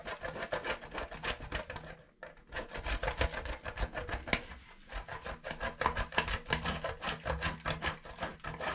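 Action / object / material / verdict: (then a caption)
scrape / soap bar on a stainless steel box grater / soap / none. A hand-sized solid white bar of soap is rubbed by hand over the coarse holes of a stainless steel box grater. It makes fast, uneven scratchy grating strokes, about three per second, with a bright raspy texture. There is a brief pause near the two-second mark and a quieter stretch around four and a half seconds.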